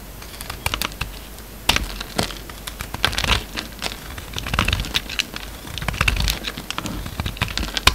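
A steel utility-knife blade cuts and shaves a solid, hand-sized oval red soap bar with a pink core, held in the palm. Many quick, crisp clicks and scraping crackles come in uneven bursts, with bright, sharp edges and brief rustling passages under a faint low hum.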